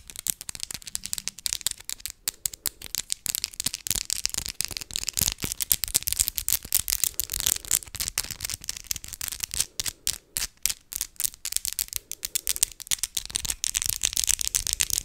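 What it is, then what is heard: Acrylic fake nails tapped together. Long acrylic fake Christmas nails are tapped and clicked nail against nail close to the microphone. The result is a rapid, dense stream of short, dry, bright clicks with almost no ring and very little low end.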